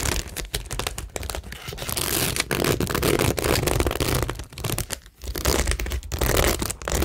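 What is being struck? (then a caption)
Cork board covered in plastic rhinestones and pearl stickers. Long nails scratch across a framed cork board covered in rows of flat, solid plastic rhinestones and pearl stickers. The result is a dense, continuous bright crackle and rasp with a low rumble underneath, briefly dropping away around the five-second mark before the scratching picks up again.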